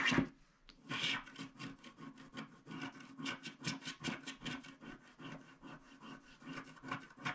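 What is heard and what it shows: A wooden stick scratches the remaining black strip on the left of a small, flat paper scratch art card with a black wax coating. The clip opens with a loud scrape, then a short pause, then a steady run of short, dry rubbing strokes. The strokes carry a low hum near 270 Hz and a bright, raspy edge.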